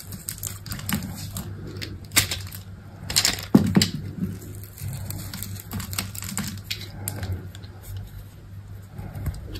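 A utility knife blade scrapes and cuts the black embossed coating off a hand-sized solid white soap bar. The result is a steady run of short, dry, crisp scraping ticks over a low steady hum, with a few louder, brighter cuts near the middle.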